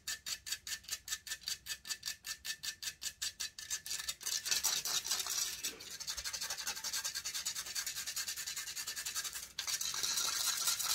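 Long fingernails quickly scratch the hollow metal mesh grille of a silver condenser microphone, starting with a steady run of separate, bright rasping strokes for about four seconds. The scratching then turns into continuous, dense, high-pitched scraping, with a brief drop around the six-second mark and a short break near nine and a half seconds before it resumes.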